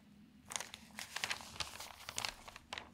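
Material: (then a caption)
Paper. Fingertips with long nails turn the thin newsprint pages of an open paper newspaper and fold them over. The result is bursts of bright crinkling and rustling, with short sharp crackles over a quiet low hum.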